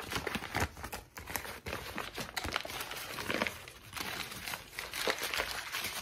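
A heavily wrinkled sheet of thin, white lined notebook paper with a spiral-torn edge is scrunched and crinkled between both hands, worked by fingertips with long pink nails. The result is a steady run of dry, bright crackles and crinkles with quick bursts of louder crunching and very little low end.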